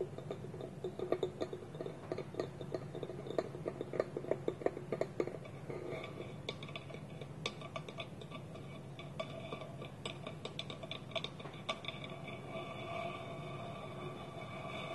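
Fingertips and nails tap quickly on a small, polished, hollow wooden bowl with a wooden lid held against it. This gives a rapid run of short, dry, woody clicks with a faint hollow tone around 400 Hz. After the first few seconds the taps thin out and grow sparser over a steady soft hiss.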